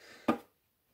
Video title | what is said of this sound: LEGO BrickHeadz Buzz Lightyear 40552 review | if you shake it then you can hear the batteries shaking inside him